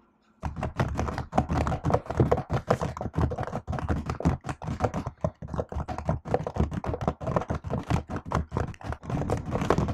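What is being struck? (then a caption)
Laptop keyboard with plastic keys in an aluminium body. Typing on a silver laptop keyboard with black plastic keys set in an aluminium body, struck with long acrylic nails and fingertips. After a brief silence, a rapid, steady stream of short, dull taps and clicks follows, weighted toward low thuddy tones with very quick decay.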